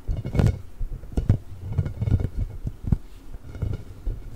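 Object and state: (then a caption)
Rubber spiky ball, scratched. A large, pink, hollow, inflated rubber ball covered in nubs is scratched and rubbed with the nails of both hands close to the microphone. The sound is a run of irregular, dull, muffled scrapes and soft thumps. It is heavy in the low end, with brief bursts of brighter scratching and almost no ring after each stroke.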